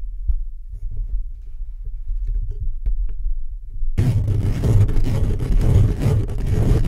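Fingertips and short nails of both hands scratch fast and aggressively on the round hollow steel-mesh grille of a black USB condenser microphone. For the first four seconds it is a deep, muffled rumbling with scattered soft scrapes. It then jumps into a louder, denser, continuous scratching that stays heavy in the low end with a rough hiss on top.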